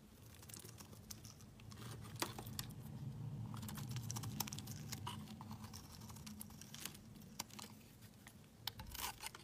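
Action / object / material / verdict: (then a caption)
scrape / soap bar scraped with a knife blade / soap / none. A solid black bar soap held in the hand is carved and scraped with a utility knife blade, peeling off thin shavings. Crisp, dry scraping and crackling ticks come in quick, uneven bursts over a low, steady hum.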